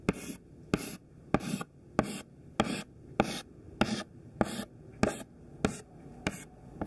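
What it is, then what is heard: Chalk strokes on a chalkboard. Thin white classroom chalk held in the fingertips makes rows of short tapping tick strokes on a black chalkboard. Twelve sharp, separate taps come at a steady pace, each a bright scratchy click with a brief gritty tail and no ring.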